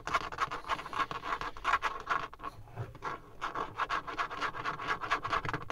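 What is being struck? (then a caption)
Textured plastic car dashboard panel. Fingertips and nails scratch and tap rapidly on a dark, leather-textured grained plastic dashboard trim panel fixed solidly inside a car. The sound is a dense, fast run of dry scraping strokes and short taps centered around the low-mid range with a bright rasp on top, coming in rhythmic bursts with a brief quieter patch in the middle.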